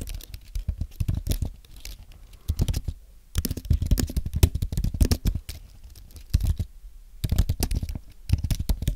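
Both hands type with their fingertips on a thin, solid white Apple Magic Keyboard with an aluminum base and plastic keys. Quick, soft, muffled taps come in bursts with short pauses between them. Each tap is dull and low, with almost no ring.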